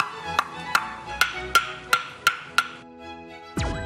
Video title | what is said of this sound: [교양] 서민갑부 372회_220222_장작의 품격 | 잘 마른 장작의 맑고 고운 소리가 느껴지시나요?